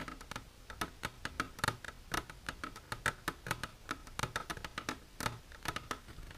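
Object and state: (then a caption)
Plastic container. Long natural nails with silver polish tap continuously on a plastic container. Many quick, light clicking taps come in an uneven stream, each short and bright with a faint ring near 1.3 kHz.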